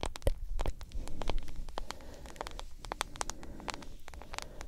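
A smartphone in a yellow plastic case with a black glass screen is tapped with long nails in a quick, irregular series of light clicks. The sharp ticks sit over a steady low rumble.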